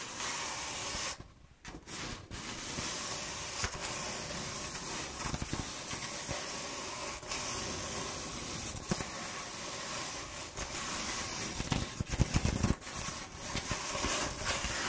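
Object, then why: Corrugated cardboard roll. Long painted nails and fingertips scratch and rub a hollow corrugated cardboard roll with slightly dented ridges, producing a steady, bright, hiss-like scraping texture. The rustle briefly drops away near the start, then continues with a few sharper, louder scratches toward the end.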